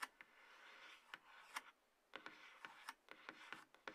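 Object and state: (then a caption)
Cardboard box tapped and scratched. Fingertips and long nails tap and scratch the top of a hollow, light grey cardboard iPhone box base resting on a table. Thirteen quiet, sharp, bright clicks are separated by a soft, hissy scratching rustle, with almost no low end.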